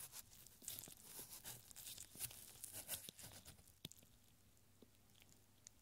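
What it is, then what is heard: Paper scroll. A thin strip of yellowed, handwritten paper is unrolled and stretched between gloved fingertips, making dense, bright crinkling and crackling for the first few seconds. A single sharp crackle follows before the sound drops to near silence with a few faint ticks.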